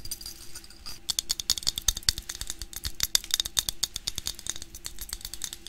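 A clear, hand-sized glass mason jar filled with dried plant material and flowers is held in the hands, tilted and shaken so the contents move inside. A soft, hissy rustle in the first second gives way to a rapid, irregular stream of sharp, bright clicks and rattles. The clicks stop dead with no ring, centering near 3.7 kHz over a faint low background.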